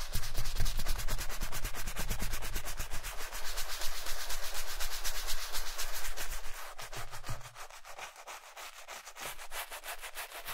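A wooden-handled brush scrubs the toe and vamp of a black leather Chelsea boot worn on a foot and covered in white cleaning foam. Rapid, repeated bristly rubbing strokes, about two per second, make a steady bright scratching hiss that grows quieter in the last few seconds.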